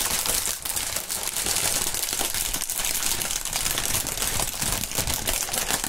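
A thin, clear plastic air-pillow packing strip with green print is stretched between two gloved hands and crinkled and squeezed. A steady, dense, bright crinkling and crackling continues throughout, with fine sharp snaps over a light low rustle.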